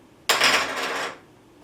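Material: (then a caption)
PLA plastic. A regular 3D-printed maker coin made of plain PLA plastic is dropped or tapped for comparison with a bronze PLA version. It makes a single bright, clicky strike with a short ringing rattle around 1.1 kHz that fades out over about a second.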